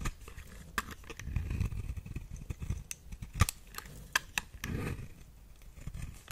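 A small metal blade with a white handle shaves and scrapes curls off the surface of a round, solid, dry brown bar of soap held in the hand. Low, rough scraping runs throughout, broken by sharp, bright clicks and cracks as the blade catches and curls peel away.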